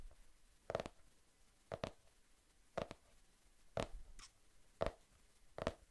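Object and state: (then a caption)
Spiral notebook with laminated cardboard cover. Fingertips tap the glossy printed cardboard cover of a medium spiral-bound notebook held upright in one hand beside the microphone. Six soft, hollow taps land about once a second, some sounding doubled, each with a quick dull thump centred in the mid range and almost no ring. Faint background hiss fills the gaps between taps.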